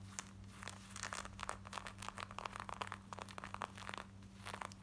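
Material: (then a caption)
Denim. Long nails scratch quickly across worn black denim jeans at the front, thighs and back pocket area. A rapid run of short, dry, crinkly scrapes with bright edges sits over a steady low hum.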